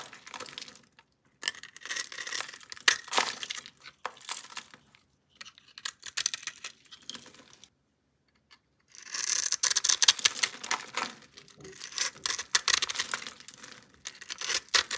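A solid, palm-sized red soap bar with an already textured surface is held in one hand and carved and scraped with a small box-cutter style metal blade in the other, shaving off flakes. Bursts of dry, crisp scraping and crackling come with a bright, high hiss and stop briefly partway through. The clicks and rasps are sharp and die away almost instantly.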